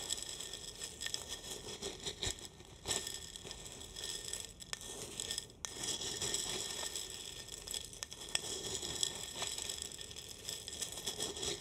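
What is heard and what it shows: Roasted coffee beans in a tall clear glass jar, partly full and tilted in one hand, are stirred with a wooden spoon. They give a steady, bright rattling and crinkling against the glass, with short sharp clicks and ticks throughout.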